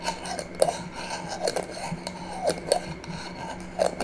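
A small, empty clear glass jar with a metal screw lid is held in one hand and tapped and scratched with long manicured nails on its glass sides and lid rim. Sharp, bright clicks ring out over a steady scratchy rasp, with a low hum underneath throughout.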